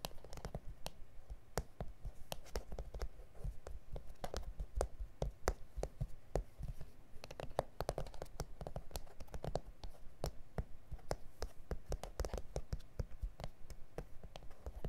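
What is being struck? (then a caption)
Plastic cutting mat. Fingertips and nails tap and scratch across a flat, solid A4 self-healing plastic cutting mat with grid lines. Quick, dry clicks with bright, sharp attacks come in a steady irregular stream over a soft scratchy rustle and a low background rumble, each tap dying almost instantly.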